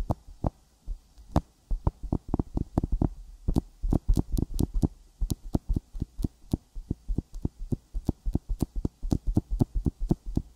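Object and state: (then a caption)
Silicone microphone ear tapped with fingertips. Fingertips tap a sticky silicone binaural microphone ear coated with petroleum jelly. The result is a fast, uneven run of short, deep, muffled thumps with a faint crisp tick at the start of each. The taps come in bursts and clusters with brief pauses between them.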